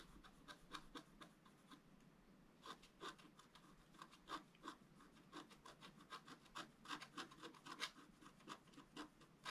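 A pointed wooden stylus is rubbed back and forth over a flat black wax-coated scratch art paper sheet on a table, scraping in the area of a garden gate. A steady run of short, dry, bright scratching strokes rises and falls over a quiet background, each stroke ending quickly with no ring.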